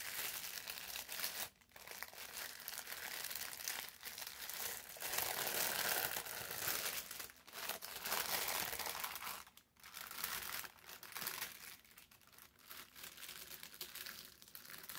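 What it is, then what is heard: Thin paper sheet crinkled and pressed. A thin sheet of brown parchment paper is folded in the hands, then laid flat and pressed with the palms. It gives a steady, bright crinkling and rubbing with short pauses. The sound is quiet overall.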